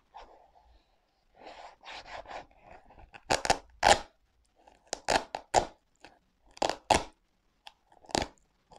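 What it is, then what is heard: Leather sneaker with velcro straps. A black leather sneaker with velcro straps is held in one hand while fingers pull and rub the straps and the leather upper. This makes a series of short, crunchy scraping and peeling bursts, some soft and rustling and others sharp and bright, separated by brief silences.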